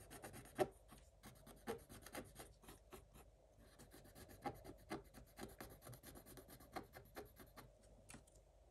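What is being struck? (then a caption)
Coated scratch-art paper with wooden stylus. A thin wooden stylus scratches across a black coated scratch-art paper page, with pink foil showing through. The sound is a quiet series of short, dry, scratchy strokes with a bright hiss. A few louder strokes stand out, and each stops almost at once with no ring.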